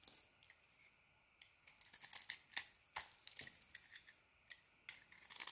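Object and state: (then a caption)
Bar of soap being shaved. A craft blade shaves the surface off a solid pink bar of soap held in the hand. The clip is a quiet, irregular series of short, crisp scraping strokes, bright and airy with almost no low end, each dying away almost instantly.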